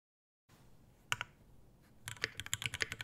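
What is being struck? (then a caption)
Mechanical keyboard with plastic keycaps, brass plate and metal case. An Iron180 tenkeyless mechanical keyboard with a brass bottom, brass plate, Alpaca V2 switches, white ABS keycaps and a dark metal case sits on a desk mat and is typed on with the fingertips of both hands in fast strokes. Two sharp clacks come first, then a quick, uneven run of bright, dry keystrokes, about ten in all, each cutting off almost at once.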